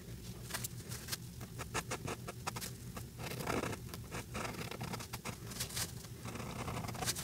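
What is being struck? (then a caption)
Marker tip on a paper sheet. The brush tip of a white alcohol marker rubs across a flat paper coloring page in quick strokes over Santa's beard, making rapid, dry, scratchy swishes with bright, hissy edges. A steady low hum runs underneath throughout.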